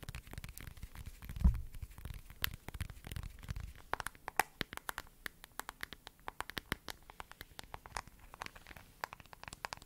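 Long nails tap and scratch the back of a smartphone in a glossy lavender plastic case, held close to the mic, working around the camera bump. A rapid stream of sharp, bright clicks rides over soft scratching, with a low, muffled thump and rumble of handling near the start.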